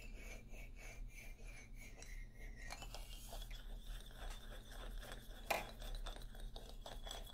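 Fingernails scratch the solid hardwood bars of a wooden xylophone held upright close to the recorder. A steady stream of dry, rasping scratches runs over a low background hum, with brief bright clinking accents and one sharper click about two-thirds of the way through.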